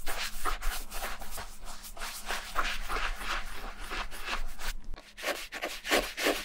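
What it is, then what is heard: Leather boot being brushed. A small round wooden-handled bristle brush rubs and scrubs cream into the dark leather toe of a Levi's vintage suede-and-leather ankle boot, which is hollow, empty and held in one hand. Brisk, uneven bristly rubbing strokes repeat quickly with a dry, hissy scrape over a faint low hum, pausing briefly before a final run of louder strokes.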